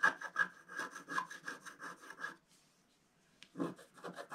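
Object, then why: Coated scratch art paper scraped with a wooden stylus. A wooden stylus scratches across a flat scratch art paper sheet with a black coating, working over various areas and ending at the lower edge. Quick rhythmic rasping strokes with a bright, papery grain run for over two seconds, fall silent apart from a faint tick, then resume for a final burst of scratching.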